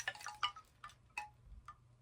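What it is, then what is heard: Coconut shell wind chime. A thrifted coconut shell wind chime shaped like a crane with bobble-head babies is jangled, giving seven bright, hollow clinks spread over two seconds. Each clink is short and dry, centered around 1.2 kHz, and fades quickly against a faint low hum.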